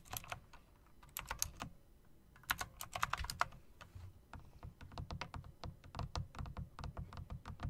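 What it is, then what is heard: Typewriter-style mechanical keyboard being typed on. A backlit typewriter-style mechanical keyboard with round plastic keycaps set in metal rims is typed on with fingertips and long dark nails, mixing key clicks and presses. Crisp, bright clicks with short low thumps beneath come in irregular bursts, each dying away almost instantly.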